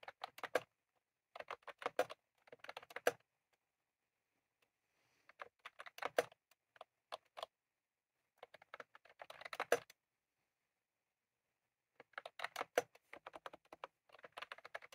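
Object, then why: Plastic mechanical keyboard with round keycaps. Both hands type rapidly with their fingertips on a full-size, retro-style plastic mechanical keyboard with round cream plastic keycaps and a plastic case, resting on a desk. Quick bursts of crisp, clacky key taps come in several flurries separated by short silent pauses. The taps sound dry and bright, with almost no low end.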